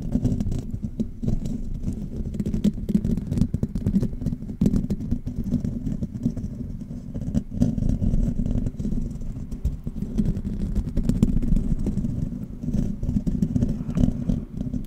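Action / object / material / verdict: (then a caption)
scrape / metal mesh microphone grille / metal mesh / none. Fingertips and nails of both hands scratch and tap the bare, hollow silver metal mesh grille of a condenser microphone. The result is a steady, dense rustle of scratching and soft thumps, heavy and muffled in the low end with almost no bright content, for the whole clip.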